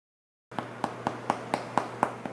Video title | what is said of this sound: Homemade Flaxseed Bread - 5 Ingredients Only! | when you pick it up it should sound hollow when you tap it that's how you know it's completely finished and cooked through